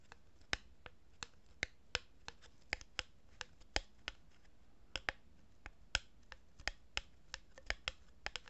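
A hollow cardboard tube, held horizontally in both hands, is rubbed and scratched by fingers with long nails. About two dozen short, sharp, bright clicks and scratches sound at an irregular pace over a quiet, faint background. Each one ends almost instantly with no ring.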